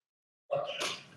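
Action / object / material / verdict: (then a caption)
shake / sealed device casing with liquid inside / liquid / sloshing. A Qi-Shield portable EMF device, a sealed casing with liquid inside, is tipped or shaken on a test bench, and the liquid moves audibly inside it. A short, wet midrange sound begins, then a second, brighter surge follows before it fades. The sound is judged a slosh rather than a trickle.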